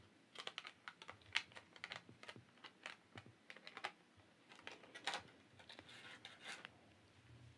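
Long acrylic press-on nails tap an empty, hollow, flat clear plastic nail tray with rectangular compartments while it is held up. The result is a quick, uneven run of many light, bright clicks that stop dead with almost no ring and hardly any low end, much like fast typing. The clicks are quiet overall, with a few sharper taps standing out.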